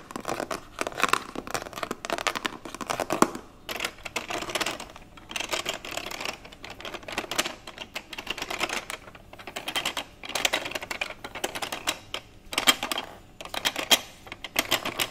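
Fingertips and nails scratch and tap along the white ridged top of a hollow plastic children's xylophone toy with colourful keys, held in both hands. Dense bursts of quick, dry clicking and scraping come in clusters separated by short pauses, with bright high content and almost no low end.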